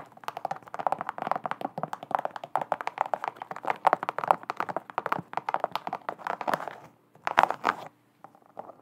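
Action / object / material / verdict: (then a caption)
tap / leather-look sneaker with rubber sole / leather, rubber / none. Long decorated nails tap and scratch the perforated leather-look upper and white rubber sole of a single hollow, empty hot-pink low-top sneaker with pink laces, held up close to the microphone. Quick, dry clicks and scratches run almost without a break, centered in the midrange with almost no ring, before pausing briefly around seven seconds and again near the end.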